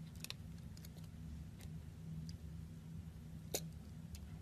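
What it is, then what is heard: Glycerin soap bar being sliced. A utility knife blade slices and scrapes a solid, clear glycerin soap bar with embedded colored discs, held in the hand. Sharp, bright clicks and brief scratchy ticks come over a steady low hum, the sharpest crack landing near the end.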